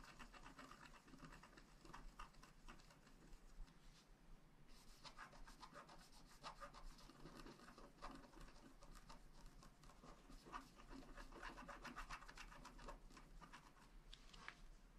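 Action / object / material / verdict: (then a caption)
scrape / wax-coated scratch art card scraped with a wooden stylus / waxed paper / none. A wooden stylus scratches small patterns into a flat black scratch art card of wax-coated paper held down by a hand. Quiet, dense, dry scratching strokes run almost continuously, with a brief lull around four and a half seconds.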